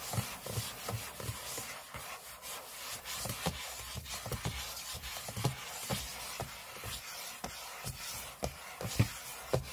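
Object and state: Aluminium laptop lid scratched with fingernails.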